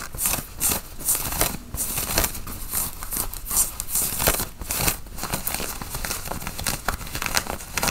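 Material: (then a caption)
Cotton flannel. Long nails scratch the chest pockets and button placket of a worn, dark grey button-up cotton flannel shirt. Repeated dry, bright scratching strokes rise and fall in quick bursts over a soft low rumble, with a rustling, crinkly texture throughout.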